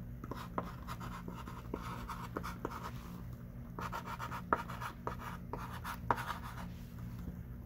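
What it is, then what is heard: Chalk writing on a chalkboard. A hand writes with a thick stick of pink chalk on a small wooden-framed chalkboard lying flat. Quiet, irregular scratchy strokes and short taps repeat over a steady low hum, with the scraping centered in the mid range near 950 Hz.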